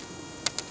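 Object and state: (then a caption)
Hard, ceramic-like fish ear stone (otolith). Small, hard ear stones (otoliths) taken from a freshwater drum's head are dropped and strike something. Three short, bright, high-pitched clicks with almost no ring sound hard and ceramic-like.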